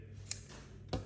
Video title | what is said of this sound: Building a Solid Hardwood Cajon | it's also very dead it just just doesn't seem to ring this timber